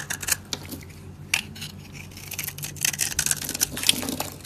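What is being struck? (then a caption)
Bar of soap cut with a metal blade. A solid, dry light-blue soap bar held in the hand is scraped and carved with a metal utility blade, chips falling away. The result is a run of crisp, bright, dry scraping and cutting ticks with almost no ring, growing busier toward the end.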